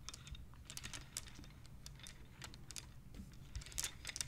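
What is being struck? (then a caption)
Wooden abacus with wooden beads. Fingertips and long nails slide the colored, painted wooden beads of a wooden abacus along their rods so they click against each other. The result is a quick, irregular run of sharp, bright wooden clicks with almost no ring, over a steady low hum.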